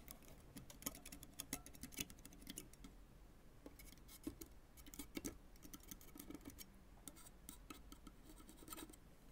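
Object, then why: Synthetic tennis racket strings on a graphite frame. A white fork is scraped and rubbed across the synthetic strings of a full-size tennis racket with a graphite frame, lying flat. The result is a quiet run of quick, bright scratching clicks and rasps over a low, steady hum.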